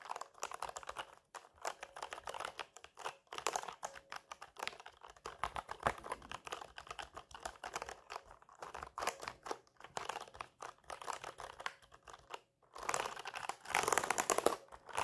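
A fully assembled, full-size black mechanical keyboard with plastic keycaps on a metal plate rests on a lap while both hands type rapidly on the keys with their fingertips. The result is a dense, steady stream of short, sharp plastic clacks with bright edges and almost no low end. There are brief pauses, and a louder, busier burst comes near the end.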